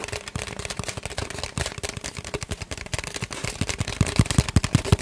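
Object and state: Hollow empty cardboard tube.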